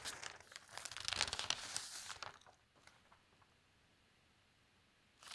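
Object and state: Newspaper page being turned.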